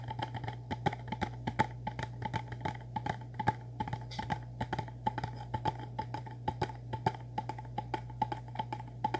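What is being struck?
Small cardboard box.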